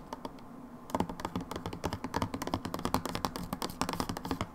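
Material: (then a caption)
Plastic. Long nails tap quickly on the side of a plastic hand wash bottle with a red pump, held lying sideways in a hand. After a quiet first second, a dense run of short, dry, irregular clicks follows, each with a low hollow body around 260 Hz and a bright tick on top.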